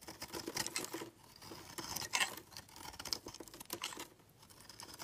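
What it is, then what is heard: Bar of soap being carved. A palm-sized solid purple Lux bar of soap, held in one hand, is shaved with a steel utility knife blade, carving off curls. Quiet, crisp, bright scraping strokes come in bursts with short pauses between them, with almost no low end.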